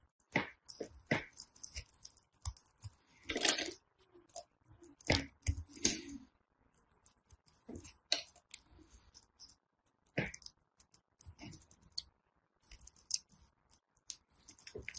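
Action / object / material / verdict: scrape / soap bar / soap / none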